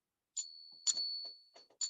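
A genuine Morgan silver dollar is struck with a paint can opener in a ping test, and it answers with a sustained, high, clear ring that carries through the whole clip. Three strikes are heard, each adding a bright metallic tick over the ringing tone. The long, resonant ring marks the coin as real silver.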